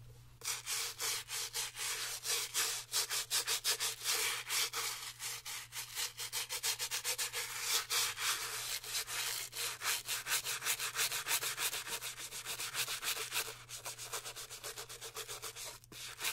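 A white Gucci leather sneaker, held in hand, has its white rubber sole and midsole scrubbed back and forth with a bristle cleaning brush. Rapid, somewhat uneven strokes of bright, hissy scratching, about 200 per minute, continue for the whole clip over a faint steady low hum. Each stroke stops dead with no ring.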